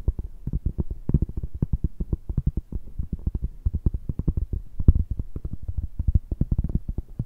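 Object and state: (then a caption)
Cork coaster. A large, round, flat, solid cork coaster held in both hands is tapped and scratched with long nails and fingertips. A rapid, steady stream of soft, dull, low-pitched thuds is heard, each one dry and dying away almost at once, with faint scratchy texture between the taps.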